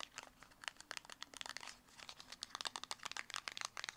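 Long acrylic nails rapidly tap and scratch a small, closed, hollow black square cardboard cosmetic box, making about twenty quick, dry, papery clicks and crinkly scrapes. The hits are bright and crisp with almost no ring or low end, under a faint steady hum.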